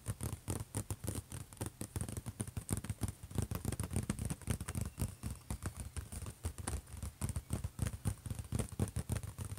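Both hands tap rapidly with fingertips and scratch with nails on the closed lid of a silver HP laptop. About 57 quick, dull hits sound with a low, hollow thump that dies almost instantly, over a faint steady high hiss.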